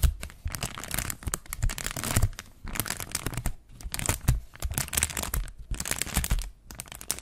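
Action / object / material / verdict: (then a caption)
scrape / thin plastic sheet / plastic / none. A thin, flexible, translucent brown plastic sheet or bag is held in both hands with medium-length purple-painted nails in front of a Zoom mic and is crinkled, bent and rubbed between the fingers. Dense bursts of sharp crackling and crinkling come in waves, with bright rustle and soft low handling thumps beneath, pausing briefly between bursts.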